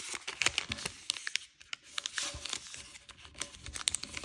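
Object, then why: Thin origami paper sheet. A square of thin, petal-patterned origami paper is folded by hand as fingertips crease and rub it. Quiet, bright crinkling and papery rustling come through, broken by a rapid scatter of sharp, dry clicks and crackles with almost no low end.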